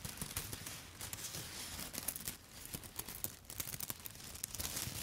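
A handful of dry yellow spaghetti sticks held upright is scratched and tapped with long foil-covered nail tips. The result is a quiet, continuous bright crinkling and scraping, dotted with short dry clicks and ticks that stop without ringing.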